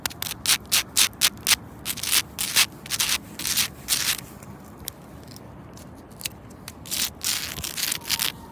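Long pointed red nails scratch and rub the rough, cracked bark of a thick, solid living tree trunk with some exposed wood patches. Bright, raspy scraping bursts come in quick, uneven strokes at about two per second, with a quieter stretch in the middle before the strokes pick up again.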